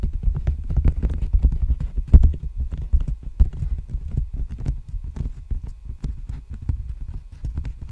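Fingertips and nails tap and scratch a large, empty black poly bubble mailer envelope held horizontally in front of the microphone. The result is a busy stream of soft, dull, low thuds with quick crinkly scratches in between, none of which ring on. The rhythm is loose and uneven rather than steady.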